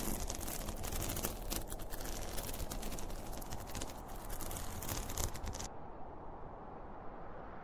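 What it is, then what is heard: Polyester fabric pencil case. Fingertips and nails scratch and rub the top of a closed, hollow zippered school pencil case made of polyester fabric with a printed cartoon panel. The scratching forms a dense, bright, fast rasping texture with quick irregular strokes over a low rumble. It stops abruptly at about 5.7 seconds, leaving only a quieter low background.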